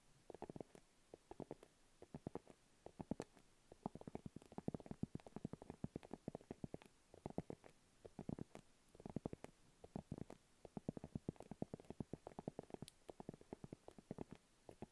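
A small, round, hollow pink padded faux leather makeup pouch, held in both hands, is tapped rapidly with long acrylic nail tips. The result is a quiet, continuous patter of short, dry, hollow taps, soft and muffled in the low-mid range, with occasional brighter clicks.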